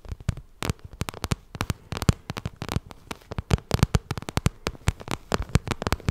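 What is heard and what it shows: Long nails tap and scratch the glossy surface of a shiny pink vinyl zippered cosmetic bag held close to the mic. It makes a rapid, irregular stream of dry, sharp clicks and soft scratches with a thumpy low body and bright tips. Each tap dies away almost at once, leaving a quiet background between them.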